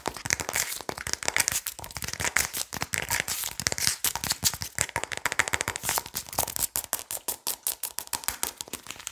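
Fingernails tap and scratch quickly on the body and label of a plastic Adobo seasoning shaker bottle with a red cap, held close in front of the microphone. The result is a dense, continuous run of sharp, dry, bright clicks and crinkly scratches with very little low end.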